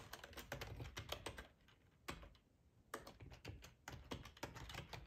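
Fingertips of both hands type on a black plastic ergonomic split keyboard, full size, resting on a cloth tablecloth. Quick runs of soft, clicky keystrokes, each with a dull low thud and a bright tick, come in bursts separated by short quiet pauses.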